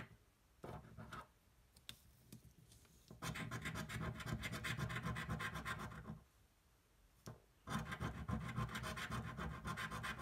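A thin, flat cardboard scratch-off lottery ticket, held flat on a table, is scratched with the edge of a metal coin. A few brief scrapes give way to two long bursts of rapid, rasping back-and-forth strokes, with a quiet pause between them. The scratching has a gritty, bright texture and a firm low thump underneath.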